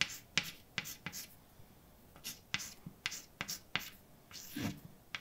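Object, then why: Chalk stick on painted blackboard. A hand writes words with a white chalk stick on a large, flat, dark painted blackboard with a solid surface. About twelve short, bright tapping and scratching strokes click against the board, each fading almost at once, separated by near-silent pauses and ending with a longer scrape.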